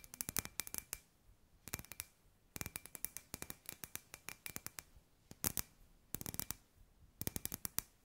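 Long grey nails tap a hand-sized, hollow, clear glass sphere lamp with an LED fairy-light wire inside, held in both hands. The taps come in quick, bright, clicky bursts separated by short pauses, with a faint glassy tone around 2.4 kHz, and each tap dies away almost at once.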